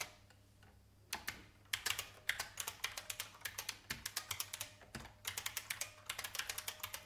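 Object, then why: Plastic mechanical keyboard. Fingertips of both hands type on a vintage beige IBM mechanical keyboard with plastic keys. After a quiet first second, bursts of sharp, bright, clicky keystrokes follow in uneven runs, with a brief pause near the five-second mark. Each click stops almost at once, with little low end.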